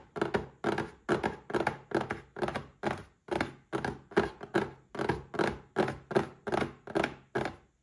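Fingertips of both hands tap the sides and front of a small rectangular printed cardboard gift box, Paladone Mario Kart glass packaging, standing upright on a white table and holding a drinking glass inside. The result is a quick, slightly uneven run of dull, hollow thunks with a boxy resonance around 400 Hz. Each tap dies away almost immediately.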